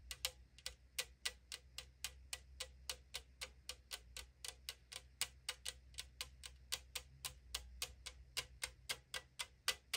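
Long decorated nails tap rapidly on the side of a hollow 500 ml AriZona green tea aluminum can. About 39 short, bright, dry taps come at a quick, somewhat uneven pace and die out almost instantly, over a faint low hum.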